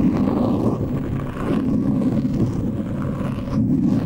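Both hands scratch a black foam windscreen on a microphone with short polished nails. The result is a steady, dense, low-heavy scratching rustle with no separate hits and almost no bright content.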